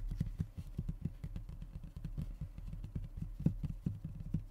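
Both hands rub and tap the surface of a thin, solid, flat brown fiberboard (hardboard/MDF) panel lying on a wooden table, using fingertips and short nails. A steady run of quick, dull, low-pitched taps dies away almost instantly, with soft rubbing between them and no bright edge.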